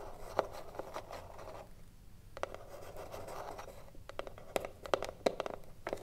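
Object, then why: Wooden cigar box. Long nails tap on the top edge and front face of a hollow, printed wooden cigarillo box standing on a table. The result is a series of light, dry clicks with a hollow tone around 530 Hz, mixed with soft scratching between taps.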